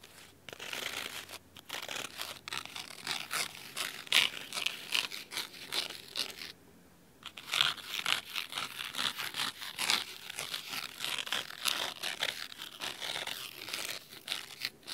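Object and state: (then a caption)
Cloth-covered hardcover book. Fingernails scratch the cloth spine and edges of a large red cloth-bound hardcover book, making a dense run of crisp, high, papery scraping strokes. The scratching pauses briefly in the middle before resuming with the same bright, crackly texture.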